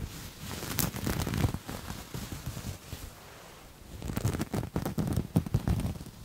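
Grey textured knit fabric, gathered in the hand, is scratched and rubbed with fingertips and nails. The result is a soft, dense, crackly rustle with a low, muffled body and a few brief bright scratches. There is a quieter stretch around the middle, followed by a louder run of quick scratching bursts.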